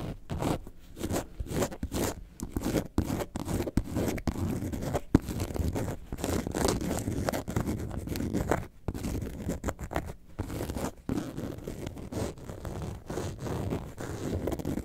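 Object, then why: Faux leather carton-shaped bag. Long nails scratch the front panel of an upright, hollow faux leather bag shaped like a lemonade carton. The result is a steady stream of dry, rasping scratches with a low, muffled body, broken by a few brief pauses.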